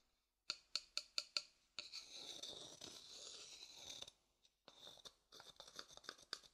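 An empty, light-colored hollow wooden bowl held in hand has its inside worked with a wooden stick: five sharp, bright clicks, then a steady high scraping rasp. After a short pause and a faint tap, quicker scraping strokes follow, all dry and bright with almost no low end.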